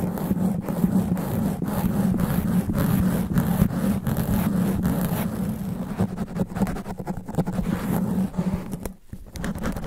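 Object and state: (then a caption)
Foam microphone windscreen being scratched. Fast, aggressive scratching and rubbing of extra-long black nails on the sponge foam windscreen covering a studio microphone. The result is a dense, continuous rough scraping with a strong low, muffled rumble and rapid, uneven strokes. The sound drops away briefly near the end before resuming.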